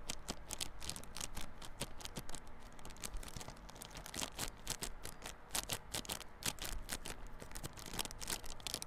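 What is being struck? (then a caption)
Cardboard box in plastic wrap. Fingernails scratch the clear plastic wrap on a small yellow cardboard Realme Buds Classic earphone box held on its side. The result is a dense run of quick, bright, crinkly scratches and clicks over a low background rumble.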